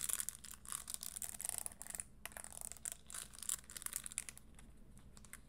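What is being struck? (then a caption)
Studded leather high heel shoe. Long green nails tap and scratch across the spiked, studded upper and tan leather insole of a single red pointed-toe Christian Louboutin leather pump, held hollow and empty in both hands. The result is a quiet, dense run of crisp, bright clicks and gritty scratches that rise and fall in short bursts over a faint steady low hum.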